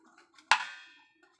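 A finger taps the wooden body of a fresh mango-wood dhol drum shell, giving a sharp, bright knock that rings out with a cymbal-like metallic shimmer and fades over about half a second. A second tap follows near the end. The shell is sound, with no flaws, breaks or cracks.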